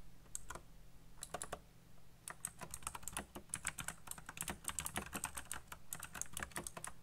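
Fingertips type fast on a backlit plastic mechanical keyboard with black plastic keycaps, producing a rapid, uneven stream of short, bright clicky keystrokes. The clacks come in bursts with brief pauses, over a faint low hum.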